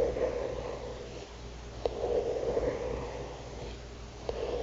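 A single long fingernail taps and lightly scratches near the top of a thick paper notebook cover with a printed illustration, lying flat. A soft, steady scratchy rustle with a low hum-like tone around 480 Hz is broken by two sharp, brief taps.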